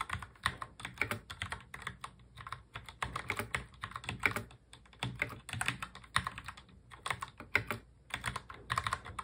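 Both hands type fast on a full-size black mechanical keyboard with plastic keycaps, fingertips tapping the keys. Quick, bright plastic clacks come in an uneven, rapid stream, with short pauses between bursts and little low-end thump.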